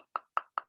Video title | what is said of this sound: Eko Nugroho, Art From Home - Hoboken Public Library | you can hear when i knock on it but it's quite hard